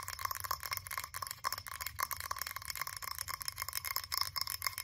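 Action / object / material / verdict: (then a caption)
tap / frosted glass candle jar tapped with long nails / glass / none. Long acrylic nails rapidly tap and scratch the sides of a blue frosted glass candle jar with a printed label. The result is a quick, dense run of bright clicks with short glassy rings and a faint scratchy hiss between the taps.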